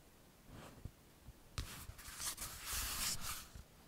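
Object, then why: Hardback book with laminated card cover. Fingertips rub and stroke the glossy laminated card cover of a small, solid Ladybird hardback paper picture book, "Man and His Car," making a faint, dry brushing sound broken by two soft taps. The book is then flipped over to its back cover with a louder, bright, hissing swish of card and paper that fades back to quiet.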